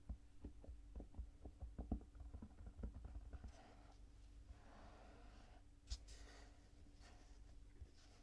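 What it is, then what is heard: Kinetic sand heart, patted. Bare fingertips and palms press, pat and rub the surface and edges of a solid, palm-sized heart shaped from purple kinetic sand on a white table, with a wooden stick lying unused nearby. The first half has a quick run of about ten soft, muffled, low thumping pats; the rest is a quieter, grainy rubbing hiss broken by one sharper tap. The sound stays dull and close, with almost no bright content.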